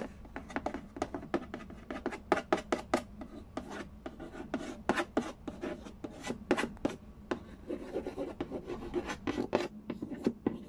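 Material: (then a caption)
Cardboard. Fingernails rub and scratch across the glossy lid of a hollow cardboard Candy Land board game box. Dozens of quick, dry, raspy strokes come in an uneven rhythm, each with a bright scratchy edge over a faint hollow papery body. Each stroke fades almost at once.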